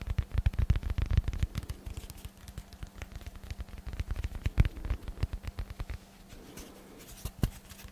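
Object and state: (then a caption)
Dense foam block, tapped and scratched. A hand-sized, solid rectangular block of dense black foam is held close to the microphone and tapped and scratched with the fingertips. Quick, soft, muffled thumps and scratchy brushes come in dense flurries for the first six seconds, then thin out to a few isolated taps. A faint steady low hum runs underneath.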